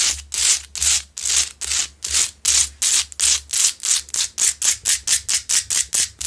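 Both hands scratch the rough surface of a large, solid rock-salt Himalayan salt lamp, lit from inside, with long pointed nails. About 21 dry, bright, hissing strokes come in separate bursts, starting longer and slower and becoming shorter and quicker toward the end, with almost no low end.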